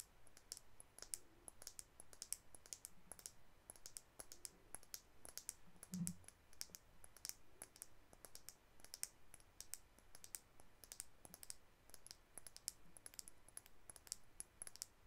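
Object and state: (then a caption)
Plastic cosmetic tube tapped with nails. A hand-sized white plastic makeup tube with a dark rose-gold cap is tapped and clicked with long acrylic nails. The result is a rapid, steady stream of sharp, bright, high-pitched clicks that stop instantly with no ring, over a quiet low background hum.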